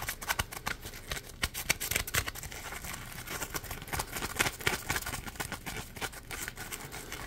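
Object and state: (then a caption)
Foam sponge scratched with fingernails. Fingernails scratch the textured, ridged edge of a hand-sized yellow Scrub Daddy sponge made of polymer foam. The result is a rapid, irregular run of dry, bright scratches and crackles, each dying away almost instantly, with a few louder scrapes standing out early on.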